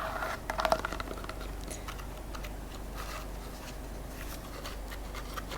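The cardboard inner tube of a paper towel roll is tapped and scratched. A short burst of quick, light taps comes first, followed by soft, steady scratching that continues quietly to the end. The tube sounds good.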